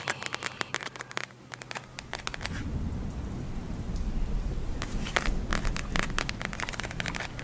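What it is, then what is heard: Plastic gel eye mask. A palm-sized pink glitter gel eye mask, a plastic shell filled with gel beads, is held in both hands and tapped and scratched with long acrylic nails. Quick, crisp clicking taps open the clip, then a low, rumbling scratching texture swells and continues beneath a fresh run of bright, irregular taps.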